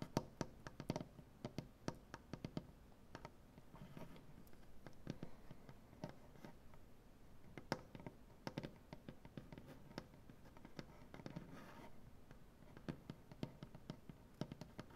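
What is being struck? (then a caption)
Maple butcher-block tabletop. Both hands tap and scratch their nails across a large solid maple butcher-block tabletop. The result is a quiet, steady stream of sharp, dry clicks that die away almost instantly, with soft scratching rustles between them and a low, woody thump underneath.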